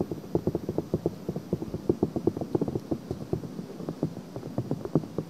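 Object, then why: Silicone microphone ear. Long nails rapidly scratch a pink silicone ear on a binaural microphone, producing a quick, steady series of short, soft scratching strokes. The sound is muffled and dull, with energy mostly in the low and middle range, little brightness, and each stroke dying away almost at once.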